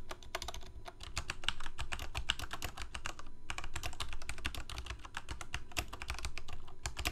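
Both hands type rapid fingertip key presses on a full-size black plastic Corsair mechanical keyboard with lit keycaps. Dozens of short, sharp clicks come in a dense stream with bright transients over a steady low rumble. Each keystroke dies away almost instantly.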